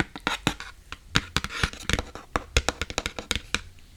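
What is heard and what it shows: Fingertips tap and scratch on an empty iPad box, producing a quick series of sharp, hollow taps with short scratchy bursts in between. Each tap dies away almost instantly, leaving a dry, close sound.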